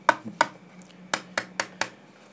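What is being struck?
Solid-state drive casing, steel or aluminium.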